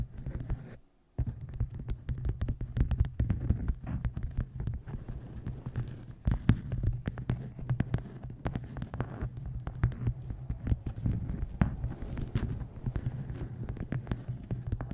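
A dark hardcover book rests on a microphone while long nails tap and scratch its cover and top edge. The result is a dense run of quick, dull taps over a steady deep hum, with faint scratchy texture between them. A brief near-silent gap comes just before the one-second mark.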